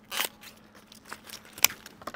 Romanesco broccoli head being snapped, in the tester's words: Senti come scrocchia! Lo senti? Lo senti? Scrocchia